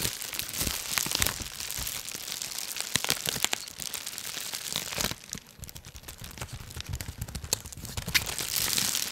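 Layered rolls of clear, air-filled plastic bubble wrap, possibly wrapping a package, are pressed and crinkled with the fingertips of both hands close in front of the microphone. A dense, bright crinkling with sharp crackles and small snaps runs throughout, easing to a softer rustle just past the middle before building louder again at the end.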